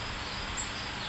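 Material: Nothing is struck.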